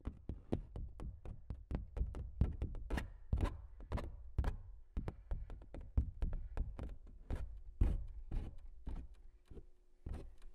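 Fingertips and nails tap and knock on the textured surface of a large stretched canvas print that is hollow behind. A steady run of short, dry, low, hollow thumps is heard, some with bright clicks from the nails, each dying away almost at once.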